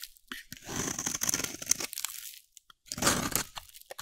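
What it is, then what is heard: Dry soap bar. A solid, dry yellow soap bar held in the hand is shaved with a metal utility blade, giving crunchy, bright scraping. A long grating pass is followed by a pause and a second shorter pass, with a few small crackles trailing after.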